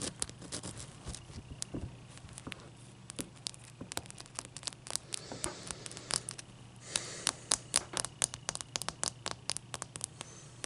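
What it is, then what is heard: Large ice cube. Long nails rub and scratch across a large, clear, solid ice cube, producing dozens of sharp, bright clicks and crackly scrapes over a faint low hum. A denser, hissing scratch swells briefly near the middle, then the quick, dry ticks resume and continue to the end.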